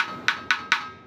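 A wooden dhol drum shell made of batti wood is tapped three times, giving short, bright knocks with a clear pitch near 1.5 kHz over a faint steady tone. Each knock dies away quickly, and the shell sounds normal.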